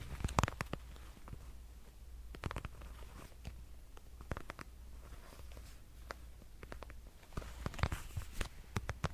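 A dark red glossy patent leather wallet is tapped and scratched with nails, giving quiet, dry clicks and short scratchy strokes that die away almost instantly. The taps come in scattered bursts over a steady low hum.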